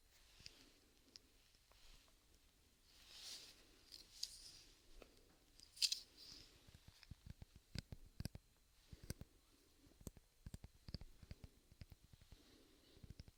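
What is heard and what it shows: Tapping on the handle of a hairbrush covered by a rubber sleeve produces quiet, sharp, bright clicks with almost no ring, scattered irregularly along with soft rustling brushes of higher hiss.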